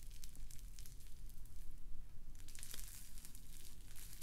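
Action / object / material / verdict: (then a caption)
scrape / foam bead slime / foam beads / none. A palm-sized, solid lump of pink floam, slime packed with small foam beads, is squeezed and kneaded between the fingers and fingertips. It gives a steady run of quiet, bright crackles and tiny pops over a low, constant hum.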